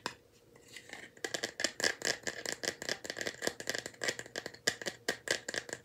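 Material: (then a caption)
Bamboo. A small, light bamboo wooden box held in both hands is tapped and shaken, its loose contents rattling inside. After about a second of faint, quiet handling, a dense run of sharp, dry clicks and rattles follows. The clicks are bright and short, with a steady ring near 1.9 kHz and almost no low end.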